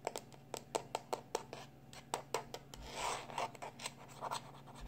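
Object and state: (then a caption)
Plastic external hard drive casing, scratched. A small black plastic external hard drive is held in one hand while fingertips and short nails rub and scratch its casing. The result is a quick, irregular series of short, dry scratches and ticks with a bright, crisp edge, plus a brief softer rubbing swish partway through, all over a faint steady low hum.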